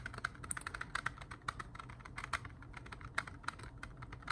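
Fingers tap on plastic CD cases at an unhurried pace, giving a steady run of short, crisp clicks with a bright edge around 1.4 kHz over a faint low background hum. Each tap dies away almost instantly, making a smooth, pleasant tapping sound.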